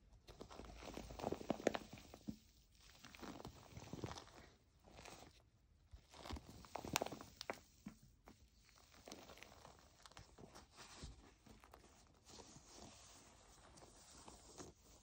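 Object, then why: Plastic foam bath pillow. A white plastic foam bath pillow is held upright while a hand squeezes it and long nails scratch its bubbly surface. The result is soft, crinkly scratching and rubbing in uneven bursts, with a few sharper, brighter scrapes early on before it settles into quieter, steady scratching.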